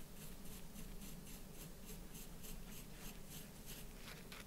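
A black pointed stylus scratches lines into a mound of loose orange kinetic sand while fingers press the sand. It makes a quick, steady run of soft, bright, gritty scraping strokes over a low, constant background hum.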